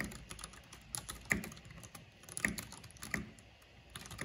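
Fingertips and long painted nails tap the keycaps of a full-size black plastic mechanical computer keyboard with purple RGB backlighting. Irregular, bright clicks and clacks come in a steady typing rhythm, with a few louder strokes standing out, and each tap dies away almost at once.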